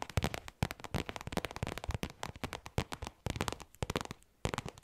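A small, soft, hollow black faux leather zip pouch is tapped rapidly with long nails fitted with paper clips. The result is a dense run of quick, crisp clicks over a soft low thump, each dying away almost at once, coming in irregular bursts with brief pauses between them.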